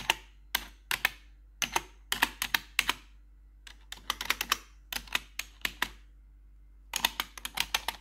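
A gloved hand with metal claw nails taps the keycaps of a black plastic RGB backlit computer keyboard. Sharp, bright clicks come in quick bursts separated by short pauses, each dying away almost instantly. A faint low steady hum sits underneath.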